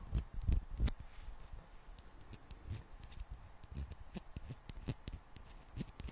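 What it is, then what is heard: Small glass bottle tapped with fingernails. Long black-painted nails tap and scratch a small, hollow, clear glass bottle partly filled with water and topped with a gold screw cap. Quick, irregular clicks carry bright ticks over soft low thuds, with louder taps near the start and faint scratching between them. Each tap dies away almost at once, leaving a quiet, close patter.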